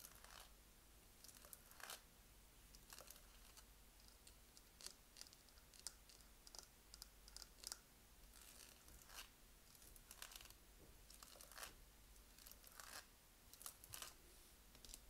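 Fingernails and fingertips scratch and tap across the rough surface of black textured plastic-coated dumbbell weight plates with red fittings. Quiet, bright, dry scraping and crinkly taps come in short bursts throughout, with a low steady hum beneath.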